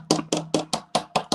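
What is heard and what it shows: A plastic drinking cup is tapped lightly seven times in quick, even succession. Each tap gives a short, dull click with a brief ring that dies away fast. The dull sound marks the cup as plastic rather than glass.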